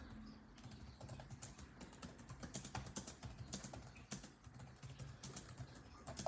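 Fingertips of both hands type rapidly on a built-in laptop keyboard with dark plastic chiclet keys set in a grey laptop body. Quiet, quick, dry clicks follow one another in an uneven stream, with sharper bright taps standing out and a low, steady rumble underneath.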